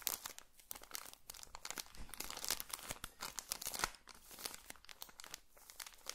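A small, colorful pocket tissue packet in a thin plastic wrapper is crinkled and rubbed between fingertips close to the microphone. Dense, bright crackling and crinkling comes in quick, uneven bursts with brief quieter gaps, mostly high-pitched with little low end.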